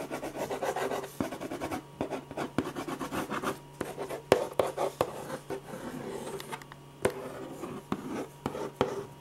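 A metal ballpoint pen scratches hatching strokes across a large sheet of white drawing paper resting flat and solid on a firm board. Quick bursts of dry, rasping scratches come one after another, with a few sharper ticks and short pauses between runs. A faint steady low hum sits underneath.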